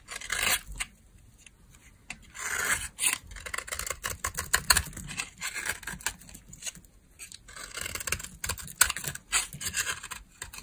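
A solid beige bar of dry soap held in the hand has chips carved off it with a utility knife blade. The result is a run of crisp, bright scraping and shaving strokes, some short and some longer, with brief pauses between them.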